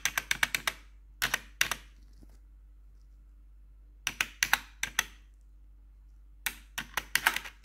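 A single metal nail tip taps and scratches the keys of a black plastic RGB computer keyboard. The result is crisp, bright clicks in quick bursts separated by pauses, each tap dying away almost at once, with a faint low hum underneath.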